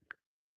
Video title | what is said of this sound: Chorus of Angels Tie Dye Roll with Dye Over the Ice. 11/9/2025 | The ice has been in my deep freezer for a while and it's like it sounds like glass